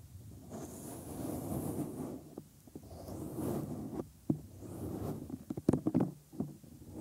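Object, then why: Silicone ear mold of a binaural microphone. Bare thumbs rub and press along the rim and lobe of the white silicone ear molds on a 3Dio binaural microphone. The result is close, muffled rubbing and swishing that is mostly low-mid with a faint high hiss, broken by several sharp, dry pops and taps toward the end.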